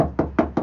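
Three knocks on the bare sheet-metal trunk lid of a 2021 Tesla Model 3 SR+, which has no sound-deadening material yet. Each knock gives a hollow, resonant, boomy thump with a tone around 300 Hz and a short ring. The undamped lid sounds noisy and resonant.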